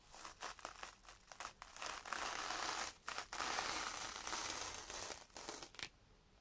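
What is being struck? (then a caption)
Foam kitchen sponge with scouring pad on sandpaper. A yellow foam kitchen sponge with a green scouring pad is held by hand and scrubbed back and forth across a sheet of sandpaper. Bright, dry scratching and crinkling rasps come in short, uneven strokes, then merge into longer sustained scrubbing in the middle. The strokes break up again before fading to near silence at the end.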